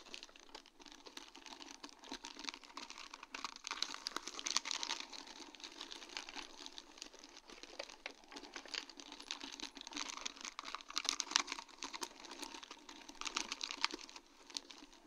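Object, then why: Sheet of acrylic rhinestones on plastic mesh. A sheet of large round faceted acrylic rhinestones on a plastic mesh backing is tapped and brushed with long dark-painted nails. The result is a dense, continuous patter of quick, bright clicks and light crinkly scratching, steady and quiet throughout with small surges in intensity. There is almost no low end.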